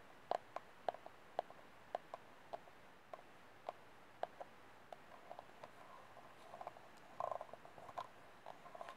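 Fingernails tap the outer wall and rim of an empty, hollow white disposable plastic cup held with its open end facing forward. About 21 quiet, sharp clicks with a hollow mid-range tone land at uneven intervals, each dying away almost instantly, with a quick cluster of taps near the end.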